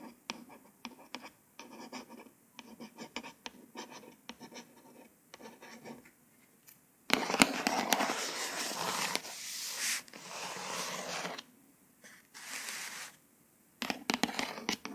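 Long fingernails on a glossy embossed hardcover paper book. First a single nail traces the cover in short, soft scratchy strokes. Then several long nails scratch across it in louder, brighter, sustained bursts.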